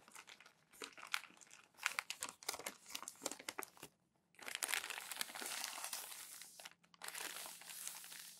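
Thin newsprint newspaper pages are crumpled and then pressed flat with palms and fingers. Dense, bright crinkling crackles fill the first four seconds, then after a short silence a steady, hissing rub of paper being smoothed continues, broken by one brief pause.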